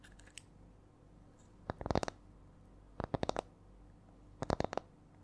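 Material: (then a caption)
Wood. Long nails tap and scratch a small, round, flat spiral coaster with coiled rings, which looks like light wood, held close to the mic. Faint clicks open the clip, followed by three bursts of quick, dry taps with almost no ring. The rhythm changes between bursts over a low, steady background hum.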